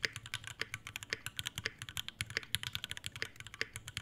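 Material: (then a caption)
Brass, plastic. Both hands type continuously with the fingertips on an Iron180 tenkeyless mechanical keyboard with Alpaca V2 switches, a brass plate, a brass bottom and white ABS keycaps in a dark metal case. Around 34 short, crisp keystrokes follow in a rapid, uneven stream, each a bright clack centred near 2 kHz over a soft low thock. The clicks die away almost instantly with no ring.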